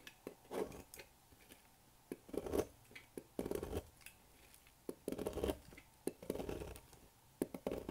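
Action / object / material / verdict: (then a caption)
scrape / bar of soap cut with a thin metal blade / soap / none. A solid oval blue-striped bar of dry soap, held in hand at the table, is cut with a thin metal blade into brittle flakes. Irregular bursts of dry, crunchy scraping alternate with sharp, bright clicks as flakes snap off. Each sound stops abruptly, and the clip stays quiet between strokes.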